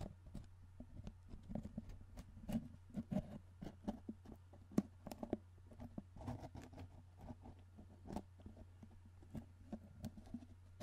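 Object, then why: Cardboard chip can with plastic lid. Fingertips tap and work the plastic lid on top of a tall, hollow, cylindrical cardboard Pringles chip can held in one hand close up. A steady run of quick, soft, dull taps and light scrapes with a hollow low body sounds over a faint constant low hum, each tap dying away almost at once.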